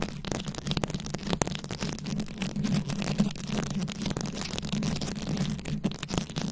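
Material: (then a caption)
Plastic rhinestones. Very long acrylic nails scratch and tap a fist-sized microphone head fully covered in small round rhinestones, likely plastic, held close. A dense stream of quick, dry clicks and gritty scratches sits over a steady low hum, with brief bright ticks that die away instantly.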